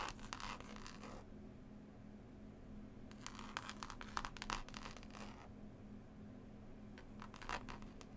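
Long pointed nails scratch and tap on a closed, solid hardback book with a green cloth cover and a paper label. Bursts of dry, bright scratching and quick taps come in three clusters separated by quieter stretches, over a steady low hum.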